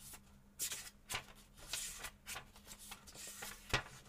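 A small paperback book is held open in both hands over a table while fingertips turn and riffle its paper pages, with a second book lying flat and untouched nearby. About eight bright, papery flips and rustles rise out of a quiet background, each brief and dry. A faint, steady low hum sits underneath throughout.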